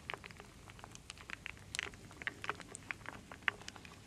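A wooden spoon stirs and scoops solid wooden beads, acorns and leaf pieces in a full wooden bowl. Quiet, dry clicks and clacks patter irregularly throughout, with short bright ticks and almost no low end or ring.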